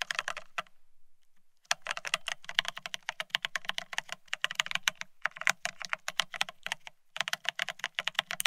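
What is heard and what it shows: Fingertips of both hands type fast on a full-size beige split ergonomic keyboard with plastic-looking keycaps. The clip is a dense run of crisp, bright, short clicks with a soft low thud beneath. There is a pause of about a second near the start and a brief break near the end.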